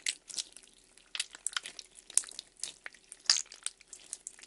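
A handful of translucent purple glitter Daiso gel slime, solid and soft, is held in both hands while the fingers squeeze, stretch and knead it. The result is a quiet run of about fifteen short, bright, crackly squelches and pops, with almost no low end and no lingering ring.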